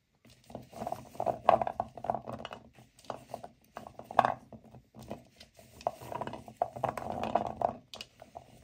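Two hands with long nails dig into dozens of small, solid, dry natural cork wine stoppers piled in a large white bowl and rub them together. The corks clatter against each other in soft, dry, irregular bursts of clicks and rustles centered in the midrange, each tap dying away almost instantly. The result is a quiet, continuous patter that swells and fades across the clip.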